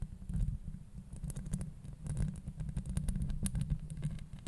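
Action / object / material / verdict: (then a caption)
scrape / metal mesh microphone grille / metal mesh / none. Long nails scratch a hollow metal mesh microphone grille from both sides. The scratching comes through as a dense, low, rumbling texture, with bright crackling ticks scattered over it.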